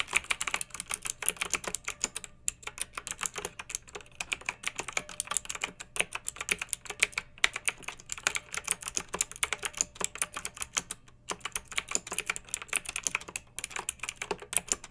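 A pink backlit plastic mechanical keyboard with round keycaps is typed on continuously by fingertips with long nails. The result is a steady stream of sharp, bright, clicky keystrokes with very short decay, broken by a few brief pauses.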